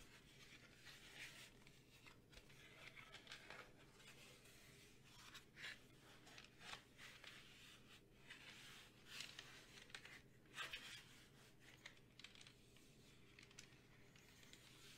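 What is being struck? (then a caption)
Plastic desk calculator with keypad. A large, hollow black plastic desk calculator with a keypad is held close to the mic while long painted fingernails tap its keys and casing. Soft, quiet clicks and taps, some with a short scratchy rasp, come irregularly over a faint steady hum. The bright sounds die away almost instantly.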